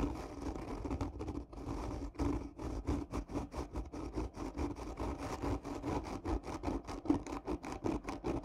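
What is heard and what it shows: Long nails scratch hard across the curved surface of a hollow, black textured cardboard gift tube lying on its side. The result is a steady series of rough, rasping strokes with a hollow, low resonant tone underneath and little high-end brightness.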